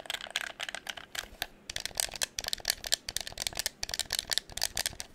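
Fingertips tap and click the buttons and triggers of a hollow red plastic game controller held close to the microphone. About two dozen quick, sharp clicks come in an uneven run, each bright and dry with almost no low end and no ring after it.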